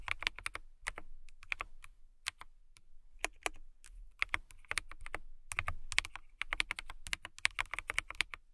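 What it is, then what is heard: Acrylic mechanical keyboard typing. Long nails and fingertips type on a clear acrylic mechanical keyboard with transparent keycaps. Quick, bright clicky keystrokes come in uneven bursts with short pauses, each one sharp and dry with almost no ring.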